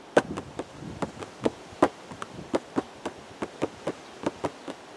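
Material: Cardboard.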